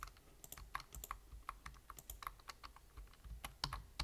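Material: Plastic.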